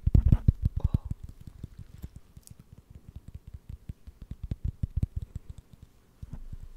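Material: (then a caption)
Wood. A wooden lid is tapped with quick, light strokes for ASMR, giving a steady stream of soft, dull knocks with almost no ring. The taps are low and muffled, louder at the start, then quieter and more evenly spaced.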